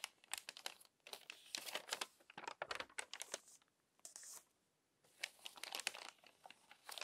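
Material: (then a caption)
Paper. Fingertips with long nails turn and rub the wrinkled pages of an open glossy paper magazine. The result is a dense run of bright, dry crinkles and crackles with short quiet pauses between bursts, plus a brief smoother hiss just past the four-second mark.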